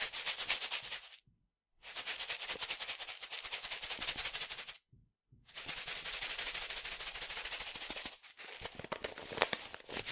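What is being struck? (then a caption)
Foil-laminate coffee pouch with coffee. A green, yellow and blue printed resealable plastic/foil-laminate coffee pouch, about 25 cm tall and filled with coffee, is held in both hands and shaken. Rapid, bright crinkling rattles come in long bursts, broken by two short silences and a brief dip near the end.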